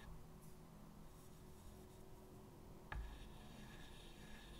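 White chalk is tapped and scratched across a medium, flat chalkboard in a wooden frame, making quiet dotting and short strokes over a low background hum. About three seconds in, a single sharper chalk tap stands out before the soft scratching continues.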